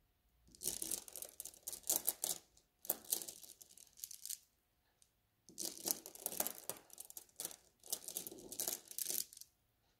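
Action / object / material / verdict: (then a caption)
scrape / small glass beads in a mesh bag / glass / none. Fingertips with painted nails rub and press a flat pile of small blue glass gem beads held in a white mesh net bag on a table, making the beads clink and grind together. The result is quiet, bright, crackly bursts of rapid clicking and scraping that come in clusters, with a longer silent pause midway before the rubbing resumes.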